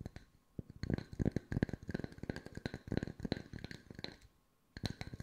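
Fingertips tap on wooden circles at mixed speeds, making soft, dry knocks that are mostly low with a faint bright click on each touch. The taps come in quick, uneven bursts with no ringing, pause briefly near the end, and then start again.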